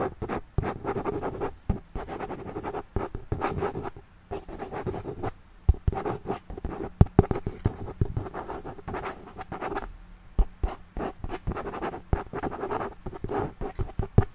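Fingernails scratch the flat, solid hardcover of a notebook with a pink and blue floral printed cover, cardboard covered in paper, held upright behind the microphone. It makes a continuous run of dry, rapid rasping strokes in uneven bursts with short pauses. The tone is muffled and low-to-mid, with no bright edge.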